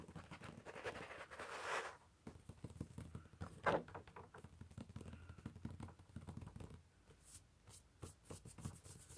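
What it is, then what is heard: Paper sketchbook page. Fingertips and short nails of both hands tap and drum on the white paper page of a large open sketchbook of coloured cup drawings lying flat on carpet. Quiet, uneven papery pats and scratches are heard, with a brief brushing rustle early on and a few sharper, crisper nail clicks toward the end.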